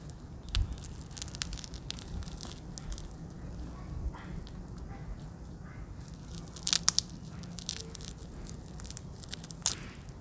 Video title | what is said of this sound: Chicken Wings Crispy Tanpa Minyak dengan Air Fryer Philips XL HD9270 | Let's hear how crispy it is. IT'S SO CRISPY!!!